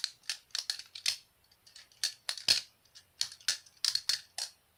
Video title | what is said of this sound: Jerry hom g10 basilisk r balisong ( butterfly knife ) | the Tang pins hit the g10 so I think it gives it a weird type of sound